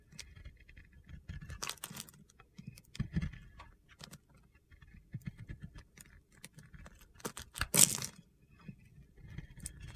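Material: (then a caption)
Soap. A metal box-cutter blade scrapes and shaves gritty flakes from a round, solid, palm-sized white bar of soap held in a hand with long red nails. Short, crisp, crunchy scrapes come in bursts, with bright, high hiss over a soft low thump. The loudest, sharpest shave lands near the eight-second mark.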